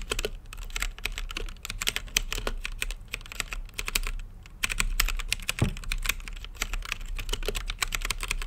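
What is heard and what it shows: Fingertips type steadily on an RGB-lit mechanical keyboard with plastic keycaps and a clear acrylic case, producing rapid, bright, clicky taps that each decay almost instantly. The click sound centers around 3.2 kHz over a steady low background rumble. Typing eases briefly near the middle of the clip, then resumes at full pace.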